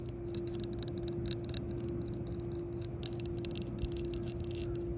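Long fingernails tap and scratch the rim and recessed center of a yellow hard-plastic shuffleboard disc lying on concrete. Quick, bright clicks and scraping ticks sound over a steady low hum and faint background noise.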